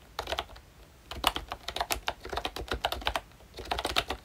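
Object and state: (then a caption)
Plastic membrane keyboard. Fingertips of both hands type on a full-size pink ROYCHE Disney Mickey Mouse retro keyboard, a plastic-cased membrane keyboard with round dark green plastic keycaps. Quick, bright plastic key taps come in bursts with brief pauses, each dying away almost instantly, and a faint low hum sits underneath.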